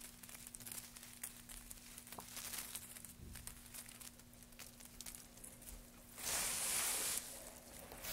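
Gloved hands stir a heap of thin wood shavings and pile them up, making dry, bright crinkling and rustling with frequent small crackles over a faint steady low hum. A louder, denser rush of rustling swells near the end, then settles back to quieter crinkling.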